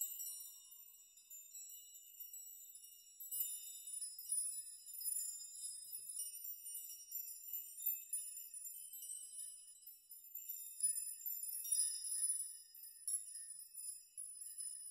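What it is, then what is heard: Metal nail chime. Hanging metal nails are brushed and rocked by hand so they chime against each other. The result is a quiet, continuous, irregular shimmer of very high, bright tinkling with short rings and no low end.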